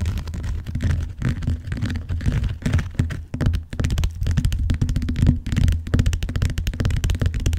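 Fingertips and long nails tap rapidly along the lower edge of the cover of a large, closed, blue vinyl-covered binder lying flat on a box. The taps are dull, soft and low, with little brightness, running together in a steady patter with short pauses and no ring after each stroke.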